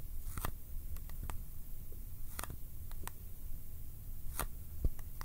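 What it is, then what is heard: Small cardboard box. A small Kodak ColorPlus cardboard film box is held in one hand and tapped and clicked with the fingertips. Short, dry, bright clicks come in irregular bursts over a steady low rumble, each dying away almost at once.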